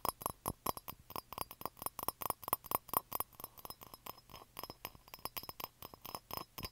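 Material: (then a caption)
Ceramic. Fingertips and nails tap and scratch around the sides and rim of a small, hollow, blue-grey glazed ceramic cup that looks empty and sits on carpet. About 35 quick, bright clinks and clicks come in a fast, uneven rhythm. Each one dies away almost at once, with light scratching between the taps.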